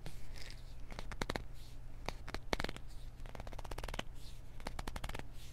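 Fingers grip and scratch around a small, hollow white plastic pill bottle with a white cap and yellow label, held in one hand. Quick, sharp, dry clicks and scratchy rasps come in uneven bursts, some bright and crisp, with no ring after each one. A steady low hum runs underneath throughout.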